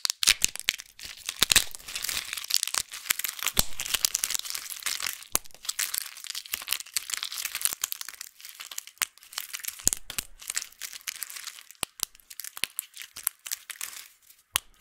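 A thin, solid yellow sheet of dried soap is bent and snapped apart by fingertips, crumbling into many small flakes over a bed of colorful soap chips. Dense, bright crackling and crunching fill the clip, punctuated by sharp, dry snaps that stop instantly with no ring.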